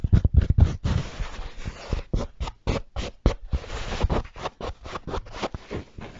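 Fingertips with short nails scratch and tap the felt surface of the crown and brim of a medium-sized black wool-felt hat with a hollow crown, held in the hands close to the microphone. A quick, irregular series of dry, brushy scratches and soft taps is heard, with dull low thumps underneath. Each one stops almost at once with no ring.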